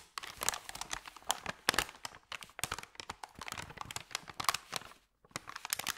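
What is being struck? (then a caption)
Thin paper bag. Fingertips rub and press the creases of a thin, flat, empty white paper sandwich bag, making a dense run of crisp, bright crinkles and crackles with almost no low end. The crackling comes in quick, dry bursts centered around 1.7 kHz, with a brief near-silent pause shortly before the last second.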